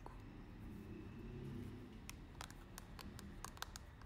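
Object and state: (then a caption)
Clear plastic powder jar. Long nails tap the lid and sides of a small, round, transparent plastic loose-powder compact holding pink powder. A series of short, sharp, bright clicks comes in the second half over a steady low rumble, each dying away almost at once.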